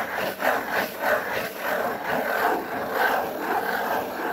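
A large, flat, brown corrugated cardboard sheet is rubbed with the fingers. The result is a steady, dry scratching and rubbing sound that swells and fades in repeated strokes, with most of its energy in the mid range.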